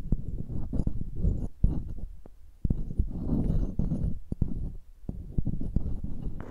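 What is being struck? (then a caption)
Metal mesh microphone grille tapped with pearls. Pearls held in long-nailed fingers tap and scratch across the mesh grilles of two identical silver metal microphones. Close, dense rustling scratches carry mostly low, muffled energy, broken by short sharp taps that die away almost instantly. The clip stays busy throughout, with brief pauses between bursts of scraping.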